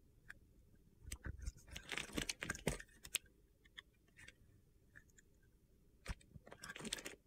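A box-cutter blade slices crunchy pieces off a solid mint green soap bar with a gold edge, held in hand. Short, bright, gritty crunches come in irregular bursts around the second and third seconds and again near the end, with quiet pauses and a few faint scrapes between them. Each cut stops dead with no ring.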